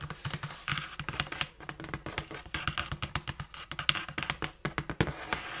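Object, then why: Cardboard shoe box. Long nails tap and scratch the faces and edges of a large, closed, hollow brown cardboard Dr. Martens shoe box as it is turned in the hands. A rapid, uneven stream of dry, short clicks and bright scratchy rasps sits over a faint hollow low thump from the box. Each tap dies away almost instantly.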